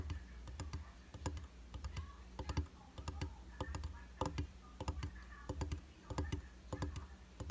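Fingertips and short nails tap rapidly on the dry, solid glass surface of a round glass vanity mirror set in a white plastic frame. The sound is an irregular stream of quick, sharp, bright clicks over a steady low hum. Each tap dies away almost instantly, with no ringing.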